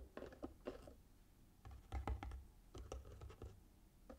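Fingernails scratch and tap the sides of a small, hollow cardboard gift box covered in red patterned paper, then move to its flat lid. The result is a quiet series of short, dry taps and scratchy strokes with a soft, hollow low thump beneath them, each fading almost at once.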